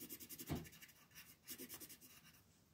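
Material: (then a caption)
Paper. A yellow colored pencil shades a flat paper mandala coloring sheet lying on a table, in quick back-and-forth strokes. About a dozen soft, dry scratches are heard, each a short bright rasp over a faint low body. The strongest stroke comes near the start, and the rest fade off quietly.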